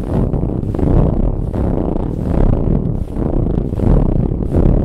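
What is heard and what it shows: Long nails scratch a soft brown ribbed fabric pillow in quick, steady strokes. The scratching is dull and heavy in the low end, with little brightness, forming a continuous rough rustle that swells slightly with each pass.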